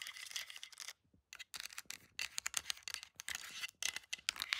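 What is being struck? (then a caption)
Plastic handheld game console and buttons. Long decorated acrylic nails rapidly tap and click on a handheld plastic Nintendo Switch with a red joy-con, resting on a carpet, striking its solid shell, buttons and joystick. Dense bursts of sharp, bright plastic clicks and scratchy taps fill the clip, with almost nothing in the low end and two brief silent gaps, one near the one-second mark and another shortly before the four-second mark.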